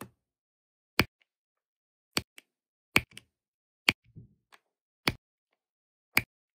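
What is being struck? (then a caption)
Plastic drill pen pressing resin drills onto adhesive canvas. A plastic drill pen repeatedly presses small blue resin drills onto a sticky diamond painting canvas, making seven sharp, bright clicks with very short decay, spaced about a second apart. Faint softer ticks and taps fall between them in near silence.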